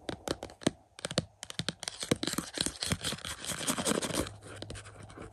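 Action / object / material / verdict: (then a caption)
scrape / cardboard slipcover over a plastic movie case / cardboard / none. Fingertips scratch and rub the glossy cardboard slipcover over a hollow plastic Back to the Future 4K UHD Blu-ray case resting on a carpet. Quick, dry scratching strokes come first, then blur into a steady, bright, papery rubbing with a faint low hollow tone underneath.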